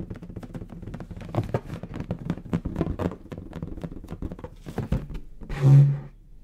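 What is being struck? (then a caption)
Inflated latex balloon. A large, hollow, air-filled bronze metallic latex balloon is held in the hands and tapped with the fingertips. It gives a steady run of quick, soft, low hollow thumps and patters, ending with a louder, resonant booming thump near the end that hums briefly at a low pitch before fading.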